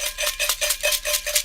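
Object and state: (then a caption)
Sealed metal can of dry glue flakes. An unopened military-surplus metal can of dry animal flake glue is shaken, and the dry chunks or flakes inside rattle loudly in a rapid series of bright, short clattering bursts. This is the normal sound of the glue, which is dry inside the can as the label says.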